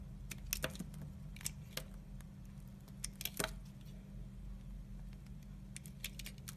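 A red utility knife blade scrapes translucent curls off a solid oval teal Vanda bar soap held in the palm. Short, crisp scraping ticks and brief bright rasps come in irregular bursts over a steady low hum. Each scrape dies away almost at once.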